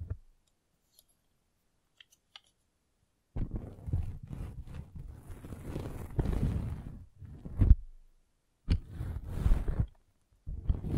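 A metal-spiked derma roller is rolled along the top edge of a red velvet bag covering a microphone. After a few faint, sparse clicks, the rolling produces long bursts of dense, low, muffled crackling and rumbling, with faint high hiss. The bursts are separated by short silences, and the last one is cut off at the end.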